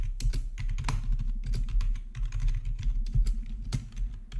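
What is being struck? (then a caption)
Plastic membrane keyboard. Fingertips of both hands type steadily on a black plastic RGB backlit gaming membrane keyboard resting on a marble surface. The result is a continuous patter of soft, dull, low-heavy key thuds with quick, dry decay.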